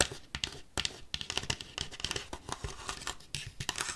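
Paperclips rapidly tap and scratch across a paper plate, producing a quick run of dry, papery clicks and rasping scrapes. The sound is mostly bright with little low end, and each tap dies away almost instantly.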